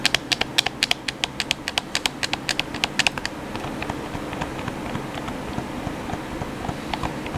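Thumbs press and click the buttons and sticks of a black, hand-sized, hollow plastic PS4 controller. A quick run of sharp, bright clicks fills the first three seconds, then the clicking continues softer and sparser over a steady low background hiss.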